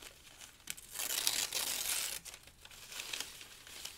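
Thin pale-green paper sheets are torn into strips with the fingertips, with loose strips lying on the pile of sheets. Bright, papery crinkling and tearing swells into a long, loud rip in the middle before easing back to softer crinkles.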